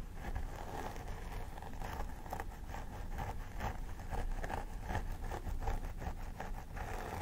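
Both hands with long nails pick and scratch at a life-size plastic doll head with synthetic hair. Crisp, dry scratching bursts sound over a steady low rumble, with brief picking clicks that die away quickly.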